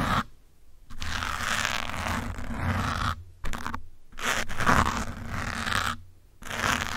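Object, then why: Foam microphone windscreen. A bundle of metal pins held at the fingertips scratches the side and top of a grey foam windscreen on a black microphone. It makes long stretches of dense, rough scraping with a low rumble and a gritty midrange hiss, broken by short silent pauses.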